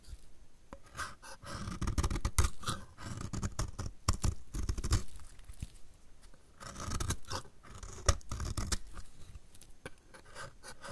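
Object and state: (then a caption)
Dry soap bar being scraped. A utility knife blade scrapes across a solid, dry blue soap bar held in the hand, peeling off curls. The result is a steady run of dry, crackling scrapes and sharp clicks that swell and fade in waves, with a dull low body under the brittle strokes.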